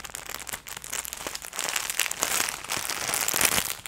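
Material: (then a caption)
Plastic. A clear, thin plastic packaging bag holding hand-sized, soft, fluffy pink plush gloves is held in both hands with long nails and squeezed and crinkled close to the microphone. Dense, bright crinkling and crackling builds in loudness over the clip, with many quick, sharp rustles and almost no low end.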